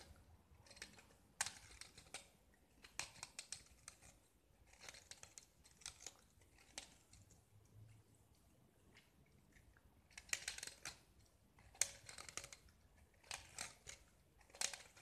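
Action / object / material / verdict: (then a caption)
scrape / small painted gypsum brick scraped with a metal blade / gypsum / none. A small solid gypsum tile, painted with brown-orange and white stripes and held in the fingers, is scraped with a metal utility knife blade, shaving off white flakes. The result is a quiet series of short, dry, bright scratching and crunching strokes with no ring, separated by brief pauses, with a few sharper, louder scrapes standing out.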